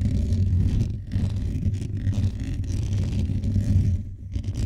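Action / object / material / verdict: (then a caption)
scrape / metal mesh microphone grille / metal mesh / none. Fingertips and nails scratch the hollow metal mesh grille of a blue microphone quickly and aggressively with both hands. The result is a dense, continuous low rumble of scraping, centered around 90 Hz with almost nothing bright above it. It holds steady with brief dips just after one second and near four seconds.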